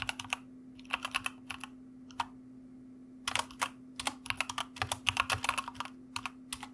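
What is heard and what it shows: Fingertips type with both hands on a white plastic mechanical keyboard, producing sharp, bright key clicks in uneven bursts, with a brief pause in the middle before faster typing resumes. A faint steady low hum runs underneath throughout.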